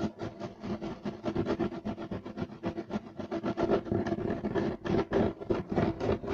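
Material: Carpet fibre.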